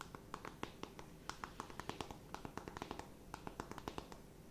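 Long nails tap and scratch a closed, flat rectangular cardboard eyeshadow palette, producing a quick series of short, dry clicks with a faint scratchy texture. Each tap dies away almost at once over a low, quiet background.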